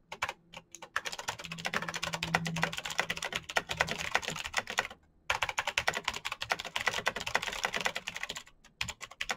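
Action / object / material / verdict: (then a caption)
tap / plastic mechanical keyboard / plastic / none. A black, full-size Razer BlackWidow mechanical keyboard with an RGB backlight, a hollow plastic body, and plastic keycaps on clicky green switches is typed on fast with the bare fingertips of both hands. Dense, bright clicks come in rapid bursts, with a brief pause near the middle and a few scattered strokes at the end.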